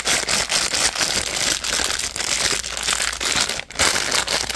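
Fingertips and nails pinch, crumple and crinkle a purple printed plastic packaging pouch. The result is a dense, continuous run of bright, crackly crinkling with little low end, dipping briefly to near silence just before the end before the crinkling resumes.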